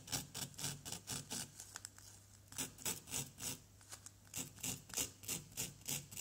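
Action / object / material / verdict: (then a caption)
scrape / plaster dig-kit block scraped with a wooden stick / plaster / none. A small, solid yellow plaster dig-kit block is repeatedly scratched and scraped with the tip of a wooden stick. About 20 bright, raspy scraping strokes follow in a steady back-and-forth rhythm, each short and dry with almost no ring. There is a brief lighter pause midway before the strokes resume.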